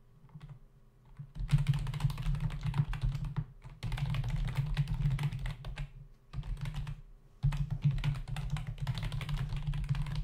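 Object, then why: Plastic membrane computer keyboard. Both hands tap the plastic keys of a black plastic membrane computer keyboard with a hollow body, resting on a desk, typing with their fingertips. Rapid, dull, thumpy keystrokes with a low resonant body and a light clicky top come in bursts, with brief pauses around the four- and seven-second marks. Each keystroke dies away almost instantly.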